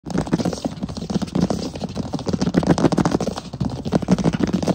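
Fingertips and short fingernails of both hands tap and scratch fast across a large solid wood plank floor. The result is a dense, continuous patter of short, dull knocks with a low, woody body and little brightness, mixed with faint scratchy rustle between the taps.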